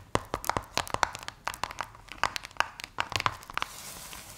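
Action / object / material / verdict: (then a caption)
scrape / polystyrene play foam beads in a plastic tray / polystyrene foam / none. Long white acrylic nails scratch and tap orange and purple Play Foam domes, polystyrene microbeads in a sticky binder, sitting in a plastic blister tray. The result is a rapid run of sharp, crackly, crinkling snaps with bright, sticky texture. The clip ends in a soft, hissy rustle.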